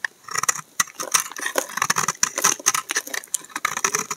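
A utility knife blade shaves a solid tan, brown laundry soap bar, peeling off thin slices. A quick series of crisp, dry scraping and slicing strokes sounds bright and papery, each stopping short with no ring.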